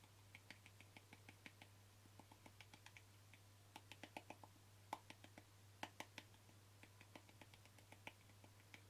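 A small white plastic cream jar is held in one hand while short fingernails quickly tap its plastic lid. Around three dozen crisp, dry clicks come in uneven bursts, each dying away almost at once with a bright, clacky edge. A steady low hum runs underneath.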